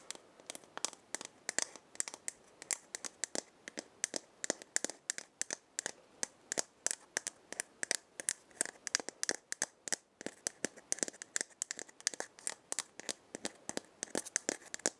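Long painted nails scratch and tap a hollow round wooden or gourd maraca head with burned markings, held in the hand. About 76 sharp, dry clicks and scratches come in a quick, uneven stream, each very short with no ring. The sound is bright and quiet, with no low end.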